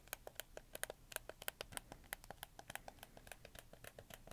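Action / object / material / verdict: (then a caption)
tap / hard plastic game controller / plastic / none. Fingertips click the triggers, shoulder buttons and face buttons of a hollow, black hard-plastic PlayStation 4 controller in quick succession. About 29 quiet, sharp plastic clicks with bright tops and no ring follow one another in an uneven, rapid patter.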